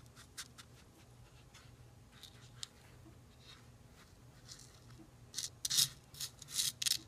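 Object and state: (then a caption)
Fingers raking dry sand in a plastic bowl. Fingertips dig into and rake through dry fine sand in a small red plastic bowl, scratching and rubbing it against the bowl. Soft, bright, hissy scratches and rustles stay faint for the first few seconds, then swell into louder, grainy bursts toward the end.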